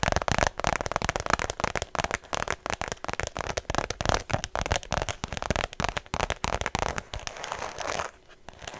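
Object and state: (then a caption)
Faux leather shoulder bag. Fingertips and long nails rapidly tap and scratch the smooth surface of a cream faux leather shoulder bag held flat before the microphone. The result is a dense run of dry, crackling clicks and scratchy rustles with no ring, easing to quieter scratching near the end.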